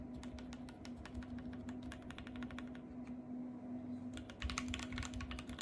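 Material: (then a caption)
Plastic. Fingertips with long painted nails type and tap on a compact RGB-backlit mechanical keyboard with white plastic keycaps, producing a rapid stream of crisp, bright plastic key clicks. A steady low hum sits underneath the whole time, and the typing grows faster and louder in the last second or so.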